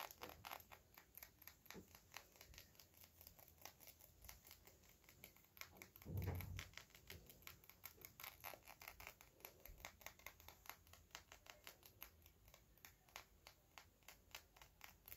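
Fingertips and nails tap the sides of a small, hollow, clear textured glass perfume bottle with a metal cap, held in both hands. The clip is a steady stream of quiet, bright clicks and ticks with short rings over a soft low rumble. A louder, duller thump lands around the six-second mark.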